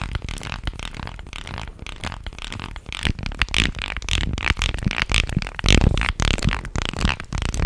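A light, solid-wood fish guiro with a ridged, grooved body is held upright and scraped along its grooves with a stick or fingers, then held horizontally and rubbed. The result is a quick, irregular series of dry, raspy ratcheting scrapes with bright clicky edges and a low woody body. The strokes grow louder and denser in the second half.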